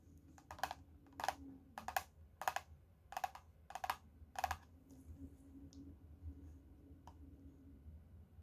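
Both hands tap the cover of a closed teal hardcover notebook with a leopard print, covered in laminated cardboard and lying flat on a lace tablecloth, using medium-length painted fingernails. About seven quick bursts of crisp clicking taps, with a hollow mid-pitched knock, come in roughly even succession over the first five seconds, over a low steady hum. Then only a few faint ticks follow before the clip ends.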